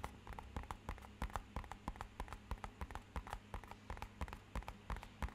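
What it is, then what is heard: Cardboard box tapped. Fingernails and fingertips tap quickly on the side of a small, rigid, hollow, matte-black rectangular cardboard box. The result is a fast, uneven run of short, hollow knocks with a low body around 74 Hz and bright clicks on top, each dying away almost at once, over a steady low hum.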